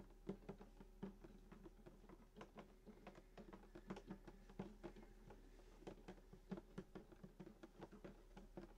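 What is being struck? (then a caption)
Wooden acoustic guitar body. Fingertips and short nails of both hands tap rapidly on the wooden top around the bridge of a full-size hollow acoustic guitar in sunburst finish lying flat, without deliberately plucking the strings. The result is a quiet, irregular patter of soft, dull knocks, each dying away almost instantly, with a low, hollow body resonance under every tap and very little brightness.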